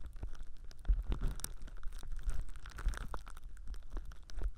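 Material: Plastic film.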